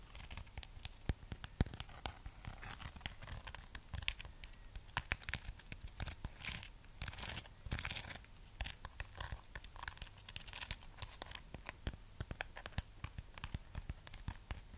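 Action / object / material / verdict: scrape / wax-coated amaryllis bulb / wax / none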